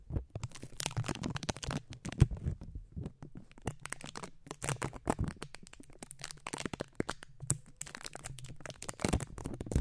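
Fingertips and short nails of both hands scratch and tap the bare, hollow, round metal mesh grille of a condenser microphone. The result is a dense, continuous stream of crackly scratches and quick taps with a low, boomy rumble underneath, plus brief bright clicks that die away almost instantly.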